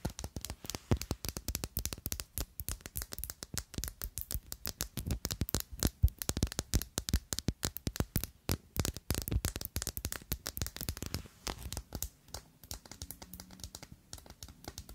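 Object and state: Faceted glass perfume bottle.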